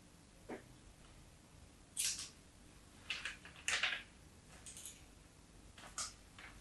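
A craft knife blade scratches the surface of a solid, embossed white bar of soap held in the palm. Several short, dry, scraping bursts come at irregular intervals, bright and hissy with almost no low end. Each fades quickly against a quiet background.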